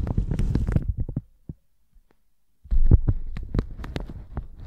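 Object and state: Plastic shower cap being brushed.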